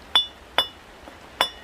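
A small, tall handmade clay pot with a light glaze, fired twice at high temperature so it does not break easily, is tapped three times. Each tap gives a clear, bright, glassy clink that fades quickly, with a faint softer knock between the second and third taps. The clear ring shows the pot is well fired.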